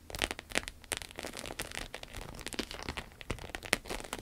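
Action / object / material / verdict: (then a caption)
tap / croc-embossed vinyl wallet / vinyl / none. A small, flat, red, glossy croc-embossed vinyl wallet lying on a table is tapped and scratched with long acrylic nails. The result is a quick run of crisp, bright clicks over a scratchy, crinkling texture, with each tap dying away almost instantly.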